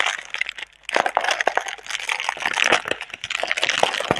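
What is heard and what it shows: Long red nails and fingertips crinkle and rub a single clear, air-filled plastic air-cushion packaging tube with green print, held in both hands. A dense run of sharp, bright crackles and rustles fills the clip, pausing briefly near half a second before resuming.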